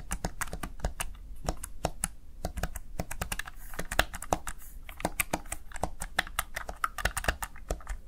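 Fingertips with short nails press and tap rapidly on the backlit mechanical-style keys of a Razer Tartarus Chroma, a small one-handed plastic gaming keypad. Sharp, dry clicks and clacks follow one another in quick, irregular bursts, each dying away almost instantly. A low, steady hum sits underneath.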